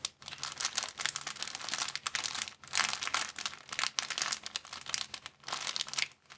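A thin, empty, clear plastic bag is crinkled with the fingertips of both hands. It makes dense, bright, crackly crinkling in uneven waves that swell and fade, with short quiet gaps, over a faint steady low hum.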